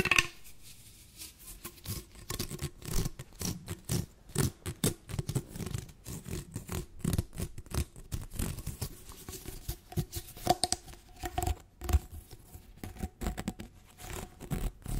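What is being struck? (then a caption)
Corrugated plastic tube. An orange, hollow, ribbed plastic tube is stretched and bent while fingernails scrape along its corrugated ridges. The result is rapid bursts of dry, ratcheting scratches and crackly clicks, with bright edges over a low, soft rumble. A faint steady tone hums underneath throughout.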